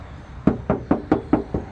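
A metal car body panel is knocked seven times in quick, even succession as a sound test. The knocks are dull, short and low-pitched with almost no ring. The panel is confirmed as metal and suitable for a magnetic mount.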